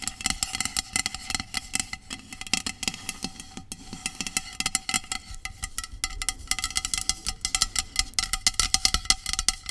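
Long acrylic nails tap-scratch the body of a medium, hollow aluminum dry shampoo aerosol spray can lying on its side. The result is a rapid, steady stream of quick, dry clicks and scratches that stop almost at once. The sound is mostly bright and high, with a faint hollow metallic tone and little low end.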